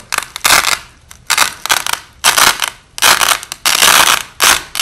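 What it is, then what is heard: Velcro hook-and-loop tape being ripped apart. Overlapping white nylon hook-and-loop (Velcro) strips, the top strip peeled off and repositioned by hand, with the audio slowed down. Repeated bursts of bright, crackly ripping, each tearing sound lasting under a second, come in several separated bouts with brief quiet gaps between them.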